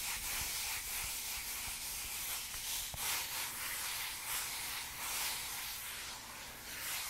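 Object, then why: Velvet-covered cardboard eyeshadow palette. Long dark nails scratch and rub the soft velvet-like fabric cover of a flat, hand-sized, closed pink eyeshadow palette with a cardboard case, held up in one hand. A steady, bright, hissy scratching fills the whole clip with small uneven swells and no distinct separate hits.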